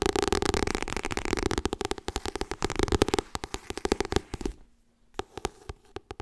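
Fingernails tap quickly on the cover and top edge of a white softcover *Getting Things Done* paperback. At first there is a dense, rapid patter of dry clicks with a hollow midrange tone. The taps then thin out into sparser, distinct clicks, fall nearly silent for a moment, and end with a few isolated taps.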